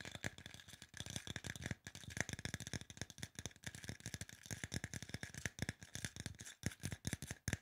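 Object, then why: Aluminum spray bottle. A hollow silver aluminum spray bottle, held sideways, has its body tapped rapidly with the fingertips. The result is a fast, irregular stream of short, dry taps with a low thump and a bright metallic tick. Each tap dies away almost at once.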